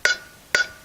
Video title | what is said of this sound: Replacing electric trailer brakes and wheel bearings. | now that it's seated, it's a good solid hit